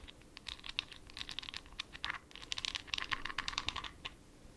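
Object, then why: Glass jar with plastic lid. A small, full, glittery glass jar with a white plastic lid is scratched and tapped with long nails close to the mic. The result is a quick, irregular run of dry, bright clicks and scratchy taps with a faint tone around 1 kHz. Each sound dies away almost at once, with little low end.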